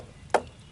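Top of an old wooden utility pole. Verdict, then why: Hollow. A knock on the top of an old wooden utility pole gives a short, hollow, mid-pitched thud around 600 Hz that dies away almost instantly. The pole top is full of fissures, cracks and rot, and the hollow sound shows it is in bad shape.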